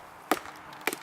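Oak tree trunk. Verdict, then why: Solid. A mallet taps twice on the trunk of a chinquapin oak, each tap giving a short, dry, bright knock with almost no ring. The trunk sounds solid here, unlike the hollow area just below it.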